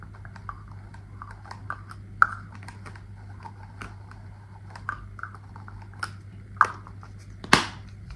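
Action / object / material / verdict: tap / aluminium aerosol can with plastic cap / aluminium / none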